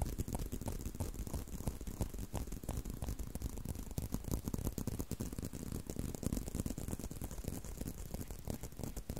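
A tan brown leather belt held in a loop in front of a microphone is tapped and scratched by thumbs and fingertips along its solid leather strap. The result is a steady, irregular stream of quick, dry, muffled thuds, mostly low and dull, with faint scratchy brushing between them and no ringing after each tap.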